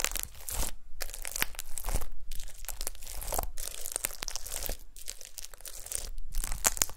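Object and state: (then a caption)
Glitter slime with star confetti. Long pastel nails press and poke into a flat, solid disc of gold glitter slime sprinkled with small star confetti. The slime gives off dense crackling, crinkly bursts with sticky pops, broken by brief quiet pauses between presses.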